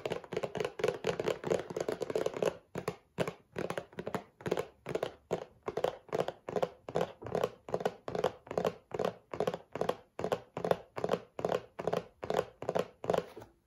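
A cardboard tissue box is tapped and handled, giving dull, hollow thunks and taps with almost no ring. A dense flurry of quick taps at the start gives way to a steady, fairly regular rhythm of separate taps, each with a low-mid body.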